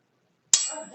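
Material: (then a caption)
Steel. A steel scale is struck or dropped once, giving a single bright, metallic clang with a high ringing tone that lingers and slowly fades rather than stopping short. The ringing is compared with a wooden scale's sound.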